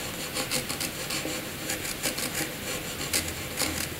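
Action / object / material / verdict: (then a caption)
scrape / graphite pencil on paper / paper / none. A hand-held black graphite pencil scribbles a small jagged patch on a sheet of blank white paper. Dry, bright scratching strokes rasp back and forth in quick bursts over a steady papery hiss.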